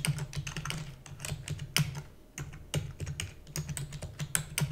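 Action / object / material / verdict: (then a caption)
tap / plastic computer keyboard / plastic / none. Rapid typing on a black full-size plastic computer keyboard with hollow key housing, keys pressed quickly by fingertips with long natural nails. The clicks come as a dense, uneven stream of short, bright clacks over a hollow low thump, with brief pauses between bursts.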